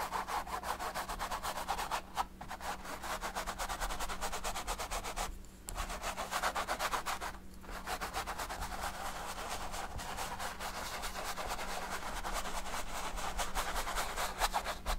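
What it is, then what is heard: Stretched canvas with oil paint, brushed. A hand rubs a paint brush in short, quick strokes over a large stretched canvas coated in oil paint, resting on a table. The result is a dense, continuous scratchy brushing texture centered in the midrange, with brief pauses near 2, 5.5 and 7.5 seconds, over a faint steady low hum.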